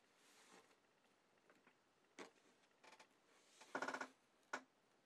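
Fingertips of both hands press, rub and tap across an assembled, roughly A4-size Miraculous Ladybug cardboard jigsaw puzzle lying flat on a white desk to settle the pieces. Quiet, dry scratchy rubs and brief papery taps come in scattered bursts, with a brighter, louder cluster of taps near the end followed by one final sharp tap.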